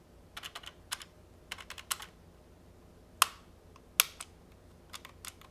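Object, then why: Plastic phone handset keypad. A pink plastic retro trimline phone handset, hollow and held in hand, has its rubber/plastic keypad buttons pressed repeatedly with fingertips. The result is irregular bursts of short, bright clicks with almost no low end, and two sharper, louder clicks stand out near the middle. About fifteen clicks can be picked out.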